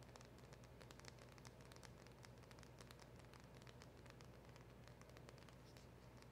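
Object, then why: Small cardboard box. A small black printed cardboard box with a silver seal label, seemingly holding a polishing cloth, is held in the hands and tapped and scratched with long acrylic nails and fingertips. Quick, crisp clicks and scratchy taps run continuously at a soft, even level over a steady low hum, with brief bright flicks standing out from the dense texture.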